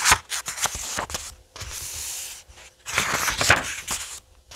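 Fingertips slide across the printed paper pages of a thick paperback graphic novel resting on a wooden table, then turn them. The result is bright, dry papery rustles and sweeping swishes with short crisp flicks in between, and almost no low end.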